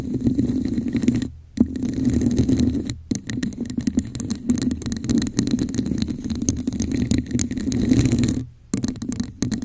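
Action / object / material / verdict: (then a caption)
scrape / textured plastic cup / plastic / none. Long acrylic nails on both hands scratch a hollow, red, textured plastic cup held over a microphone. The result is a dense, rapid rasping scrape with a hollow, boomy resonance around 240 Hz and a bright fizz on top. It comes in continuous bursts broken by brief silent gaps.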